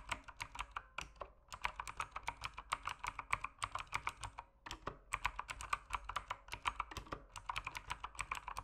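Fingertips type steadily on an RGB-lit mechanical keyboard with plastic keycaps, producing quick, crisp clacks with a bright top and a midrange body around 1 kHz. Each keystroke dies away almost instantly, and the rapid rhythm pauses briefly at about 1.5 and 4.6 seconds before continuing.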